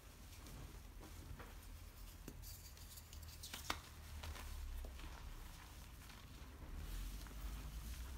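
Both hands rub, press and squeeze with fingertips and palms through a heap of dry grey-green crushed chalk reform powder with small chunks. A quiet, steady gritty rustle and crunch sits over a low rumble, broken by short bright crackles, one standing out sharply near the middle. The scraping grows slightly fuller toward the end.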